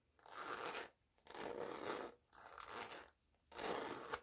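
Long-nailed fingers slide the pull along the black zipper on top of a small, flat cosmetic pouch that looks empty or nearly empty. The pouch is made of glossy, crinkly coated oilcloth-like fabric, white with black, yellow and white polka dots, and the hands also handle it. Four separate bursts of soft, gritty, crunching rasp rise and fade, each lasting under a second, with brief quiet gaps between them.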